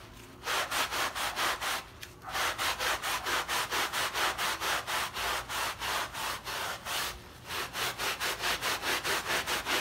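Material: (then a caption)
Textile. A small, wet fabric rug filled with paint and covered in thick white foam is scrubbed by hand with a blue plastic bristle brush, leaving stroke lines in the foam. Quick, steady back-and-forth strokes make a bright, hissing, frothy rasp, with brief pauses near 2 and 7 seconds before the scrubbing resumes.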